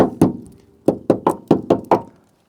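A hammer knocks seven times on the steel wheel arch of a Proton Saga Iswara bought as a barn find, giving short, dull knocks with a mid-low tone. The arch is dirty but sound, not rotten.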